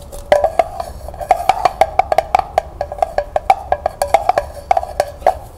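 Long nails rapidly tap the hollow sides and bottom of a small, empty, glossy tin pail with pink, red and purple stripes and a ribbon handle, held in the hands. The quick, irregular taps give short, hollow metallic ticks with a mid-pitched ring that dies away almost at once.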